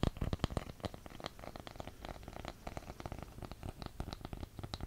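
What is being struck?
Wooden candle lid.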